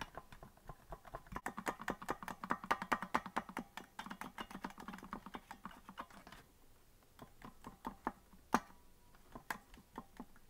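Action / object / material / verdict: tap / plastic melodica keys / plastic / none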